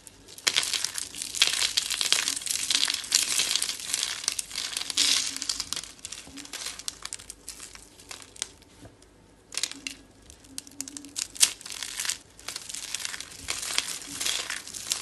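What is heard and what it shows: Fingers with long dark nails squeeze and crush curls of solid, brittle white dry soap rolled into rosettes, crumbling them into flakes. Dense, bright crackling and crunching comes in bursts, with a quieter stretch about two-thirds of the way through before the crushing resumes.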